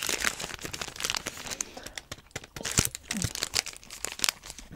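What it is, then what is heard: Foil wrapper being crumpled. A small metallic-foil energy bar wrapper, torn open at the top, is crumpled and crinkled by fingertips wrapped in tape. Dense, bright crackles come in quick irregular bursts, with sharper snaps standing out here and there.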